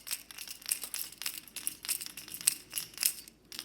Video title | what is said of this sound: Discount Tackle Unboxing - October 2020 - Topwater Poppers, Walking Baits, New Jabber Jaw, and More! | as the bait is walking you get that knocking sound